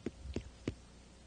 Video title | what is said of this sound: Eye on New Paltz - Ep 07 - November 1990 | this side is green and won't have as good of a sound